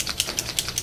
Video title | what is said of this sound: 1st Grade Chinese Lantern Collage | you shake it up and it sounds like um spray paint a spray paint can